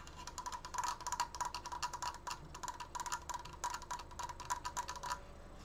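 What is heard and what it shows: Fingernails tap quickly on the side slats of a large, open, triangular wooden frame. The result is a rapid run of short, dry, clicky taps with a bright edge and a faint ringing tone near 1 kHz. Each tap dies away almost instantly.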